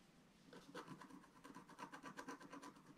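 A wooden stylus scratches a flat, black-coated scratch-art paper sheet. It makes a quiet run of short, dry scraping strokes at an uneven pace, with a rasp centered around 1 kHz and brighter hiss above it. The strokes come after a faint, near-silent start.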